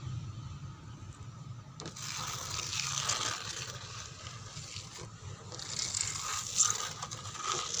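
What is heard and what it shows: Long painted fingernails tap and scratch across a dark brown grained wooden door. The result is a bright, dry scraping texture with irregular small taps, over a faint low hum that runs throughout. The scratching swells around the middle and again near the end.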